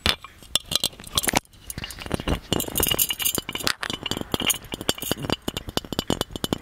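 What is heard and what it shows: Fingernails tap and clink on the body and lid of a small, hollow, gold-plated metal magic lamp. The result is a rapid run of short, bright metallic clicks and clinks that die away almost instantly.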